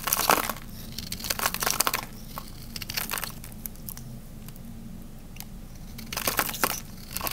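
A small metal blade shaves and scrapes flakes off the edge of a solid, hand-sized, cream-white dry bar of soap held in the hands, with a crumbly texture. Bright, crisp crunching and crinkling scrapes come in dense bursts at the start and again near the end, separated by a quieter stretch with only scattered faint ticks over a low background hum.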